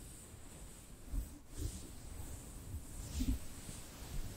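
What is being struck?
Nothing is struck.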